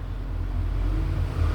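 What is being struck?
Nothing is struck.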